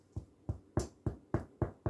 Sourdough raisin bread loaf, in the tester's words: Ça sonne creux, donc il est prêt.